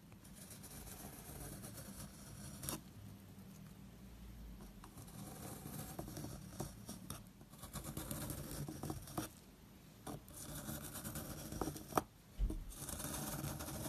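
A wooden-handled metal loop tool scrapes and carves into a small solid square soap block with a blue coated face, held in hand, cutting through the crumbly white soap underneath. Soft, continuous, low-heavy scraping and crumbling patter runs throughout, broken by a few brief sharper clicks near the end.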